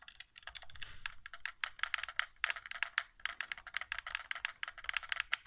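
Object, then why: Plastic game controller. Fingertips tap rapidly near the touchpad and buttons of a white, hollow plastic PS4 controller resting on carpet. The result is a quick, uneven run of dry, clicky plastic taps with a bright, hollow tone, each one stopping almost at once with no ring.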